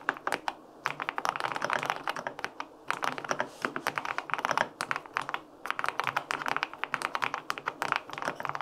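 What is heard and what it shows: Fingertips type quickly on the plastic keycaps of a white-pink, full-aluminum 65% mechanical keyboard with linear switches. The result is a dense run of short, crisp clacks centered in the upper mids with bright tops and almost no low end, broken by a few brief pauses.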